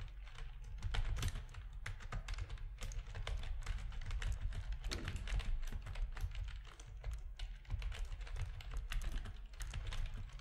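Fingertips of both hands type on a full-size black plastic RGB-backlit keyboard with a hollow plastic housing, resting on a desk. A steady, rapid stream of short clicking keystrokes carries a deep, hollow low-end thump under faint bright clicks, with each strike dying away almost instantly.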